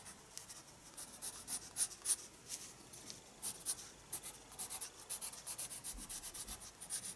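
A pencil scratches shading strokes across a page of a spiral-bound paper sketchbook, held steady by the other hand. Quiet, bright, papery scratching comes in a quick, irregular run of short strokes with almost no low end.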